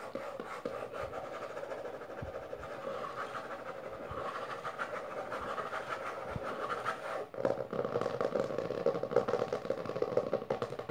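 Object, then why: Hardcover book with textured cover. Long nails and fingertips quickly tap and scratch the maroon textured cover of a closed, solid hardcover book lying on purple fabric. The result is a dense, steady stream of dry, rapid clicks and scrapes centered in the midrange. There is a brief dip around 7 seconds, after which the tapping grows louder.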